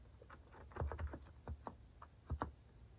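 Fingertips type repeatedly on a compact white plastic-cased mechanical keyboard with orange and cream cat-themed plastic keycaps, resting on a wooden desk. The keystrokes are short, deep clacks with a brief bright click on top, arriving in irregular bursts and dying away almost instantly.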